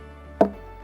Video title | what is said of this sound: Jamaica Magazine 11 07 2020 | When you knock it like this with a stone, it gives you sound. Why it gave you that sound? Because it's hollow inside.